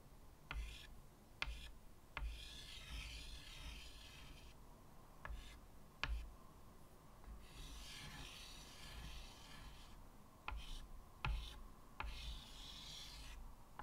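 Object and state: Chalk drawing on a wood-framed chalkboard.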